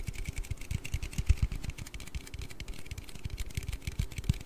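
Fingertips and nails tap and scratch a hollow, blue aluminium Red Bull drink can as it is turned in the hands. Quick, dull, low thumps come in a steady, uneven stream, each dying almost at once. A faint, bright scratchy rustle runs underneath.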